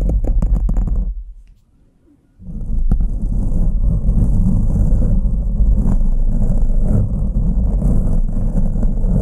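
Two green plastic forks held by the fingertips scratch and cross their tines over a black foam microphone windscreen, producing a muffled, deep rumbling scrape. A burst of quick strokes falls silent for about a second, then the scratching resumes as a steady, dense, low crackling rub that continues to the end.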